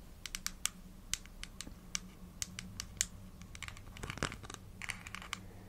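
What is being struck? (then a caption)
Small plastic supplement bottle with plastic cap. Long nails tap and scratch a small, hollow, translucent plastic vitamin gummy bottle with a pink plastic cap, touching both the bottle body and the cap. A quick series of sharp, bright clicks with no ring-out comes through, with scratchier rasping bursts toward the end, over a faint low hum.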